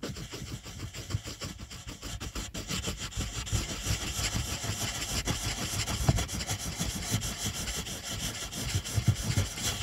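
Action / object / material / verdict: scrape / wooden colored pencil on a paper sheet / paper / none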